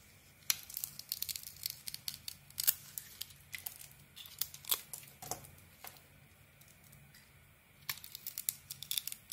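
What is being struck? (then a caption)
Soap bar carved with a metal blade. A metal blade carves a hand-sized solid soap bar with a green coating and a white core, scraping off curls. Bright, crisp scraping and crackling comes in quick bursts, with a quieter pause partway through before the carving resumes.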